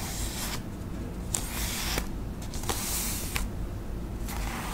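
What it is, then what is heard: Paper envelope. Long acrylic nails tap and scratch the surface of a flat, thin white paper envelope held in both hands. Bright, papery scratching swells in bursts, broken by short, crisp taps over a steady low background hum.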